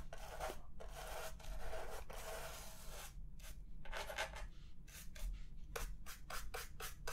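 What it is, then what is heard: Plastic laptop base being brushed. A small wooden-handled brush is rubbed and scrubbed across the textured black plastic bottom panel and vent grilles of a large, flat, hollow laptop base lying upside down, while the other hand holds the laptop steady. Dry, scratchy bristle strokes start as longer sweeps, then turn into quicker, shorter back-and-forth scrubs. A soft low rumble runs underneath throughout.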